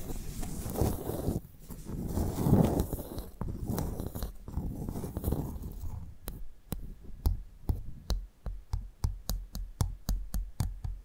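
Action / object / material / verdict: tap / clam shell / shell / none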